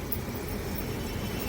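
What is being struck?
Nothing is struck.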